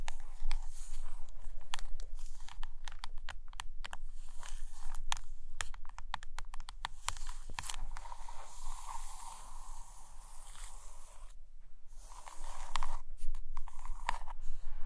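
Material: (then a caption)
Laminated cardboard. Long nails scratch and tap on the glossy laminated photo cover of a closed hardcover book resting on a carpet. Irregular, crisp taps and clicks mix with a steady scratchy rasp over a low hum, easing into a quieter, softer scratching stretch before the tapping picks up louder again near the end.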